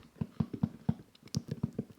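A zippered plastic Xbox controller carrying case is tapped twelve times in quick, uneven succession. Each knock is soft, dull and low, around 180 Hz, and dies away at once with no ring. One tap near the middle has a brighter, clickier edge.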